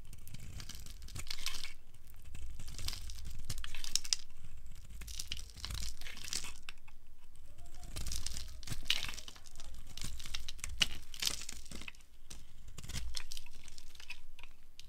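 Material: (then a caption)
Soap. A solid, round, coral-pink bar of dry soap is held in the hand over a wooden surface while a metal blade scrapes and carves it. Crunchy, crackling scrapes repeat in bursts with bright, crisp detail over a low rumble, and flakes and curls come off the bar.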